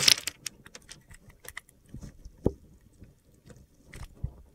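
A solid rectangular blue bar of soap is held in the hand while a metal box cutter blade cuts and scrapes its pre-scored surface into small cubes, with crumbs falling onto a glitter surface. Brief, bright crunching and gritty scraping ticks repeat with quiet gaps between them. A duller thud sounds midway.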